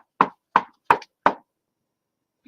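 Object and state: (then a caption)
Real wood surface. Knuckles rap four times on a real wooden surface, knocking on wood for luck. Each knock is a short, dry, hollow tap centered around 950 Hz that dies away almost at once, followed by silence and a faint low sound at the very end.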